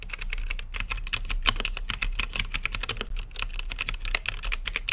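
Fingertips type steadily on a mechanical keyboard with plastic keycaps in a clear acrylic case, lit blue and purple. The result is a fast, continuous stream of short, crisp clacks, bright on top with a soft low thump under each keystroke. Some presses land a little louder than others.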